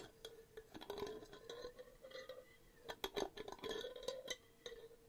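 A medium, empty-looking clear glass jar with a paper label is held up and tapped with long painted nails on its lid and glass body. A quick series of sharp, bright clicks and clinks comes over a faint, steady ring near 400 Hz. Each tap dies away almost at once.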